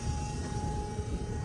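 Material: Nothing is struck.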